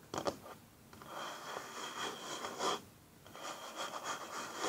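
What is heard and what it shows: Fingernails and fingertips slowly rub and scratch across a flat, solid wooden tabletop. A couple of sharp scratchy ticks open the clip, then soft, dry, bright scraping swells in slow waves with brief quiet pauses between strokes. There is almost no low-end body.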